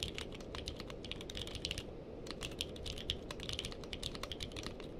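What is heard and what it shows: Two hands type with their fingertips on a purple-cased mechanical keyboard with plastic keycaps, producing a fast stream of sharp, bright clicks and clacks. The clicks pause briefly near the two-second mark, then resume over a steady low, dense background rumble.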